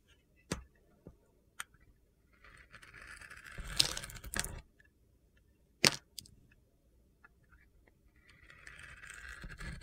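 A palm-sized solid black glitter bar soap with purple sequins and a white inside, held in hand, is sliced and scraped with a metal utility knife blade. Sharp, bright clicks and crunches mix with longer gritty, hissing scrapes, with the loudest cuts around four and six seconds, as the coating is shaved off.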